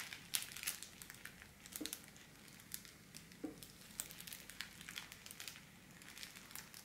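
Both hands with long black-painted nails scratch, press and crinkle a flat, folded sheet of pink metallized holographic foil wrapping film lying on a wooden table, using fingertips and nails. The result is a quiet, steady stream of bright, crisp crinkling and sharp crackles that die away almost instantly, with little low-end body.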